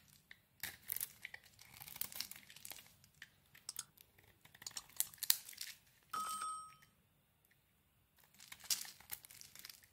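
A small blade carves a solid white bar of soap with green coating remnants held in the hand, shaving off flakes and chips so the bar gets smaller. Quiet, bright, crisp scraping and crunching bursts come in irregular clusters, broken by a brief steady tone around 6 seconds and a silent pause before the shaving resumes.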